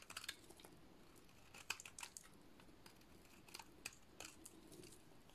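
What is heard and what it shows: A solid purple dry soap bar is shaved with a utility-knife blade. It gives quiet, crisp scraping and cutting sounds: bright, short crackly strokes in irregular bursts over a soft background hiss, with no lingering ring.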